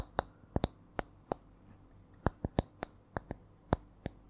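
A small, solid, round wooden disc held in both hands is tapped with long nails, giving 13 short, dry clicks in an uneven, changing rhythm. Each tap is sharp and dies away almost at once, over a faint low background hum.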